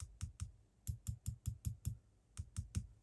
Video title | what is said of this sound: Dismantling my RevoSlot Porsche 911 GT2 and an interesting idea for assembly | it just makes a little sort of tinking sound on the block but it's fairly equal both sides it's not moving a lot